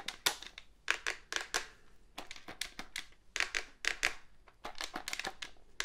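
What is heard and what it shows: Fingernails scratch and tap the back and sides of a hollow black plastic cordless phone handset with an antenna. The result is a run of quick, dry, bright clicks and scratchy rasps in uneven bursts, with almost no ring after each tap and little low end.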